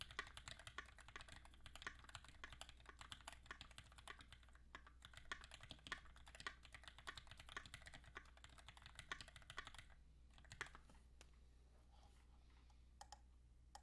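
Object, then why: Mechanical keyboard with aluminium case and ABS keycaps. Fingertips type steadily on a compact QXP mechanical keyboard with Greetech Black switches, an aluminum case and ABS keycaps, producing a fast stream of short, bright clacks over a low steady hum. Around ten seconds the typing thins to a few scattered key presses as one hand keeps tapping keys at the end.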